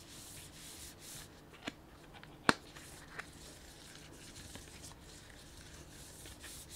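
Fingertips and nails rub and scratch the surface of a printed plastic snack bag with sunflower seeds inside, making a soft, steady crinkling hiss. Three sharp clicks stand out over the rustle, the loudest a bright snap in the middle, and each dies away almost at once.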